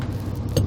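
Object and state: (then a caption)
Properly inflated truck tire. A truck's rubber tire is tapped during a morning check for punctures, giving a single low, resonant "tong" centered near 100 Hz that rings out briefly over a steady low rumble. The clear ringing tone marks a properly inflated, sound tire.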